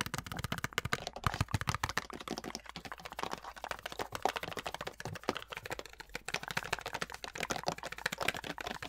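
Long nails rapidly tap and scratch the label side of a large white plastic Olay lotion pump bottle, which appears full and is held close up. A dense stream of short, dry, bright clicks and scrapes runs steadily throughout, with hollow plastic knocks centered around 770 Hz.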